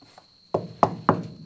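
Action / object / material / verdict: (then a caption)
knock / rubber car tire / rubber / hardened. Three dull, woody knocks on the old rubber tires of a 1969 Chevelle SS. The short, hollow thuds die away almost at once, showing the tires have hardened like rock, and one is splitting in half.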